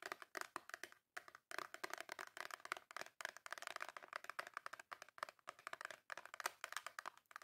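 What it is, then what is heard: Cardboard soap box tapped and scratched. Long nails tap and scratch quickly across the top and front of a small, full, white cardboard Dove soap box. The result is a dense run of dry, papery clicks and scrapes centered in the mids with a bright edge, with no low end and almost no ring. The clicks come in brisk bursts with a few short pauses between them.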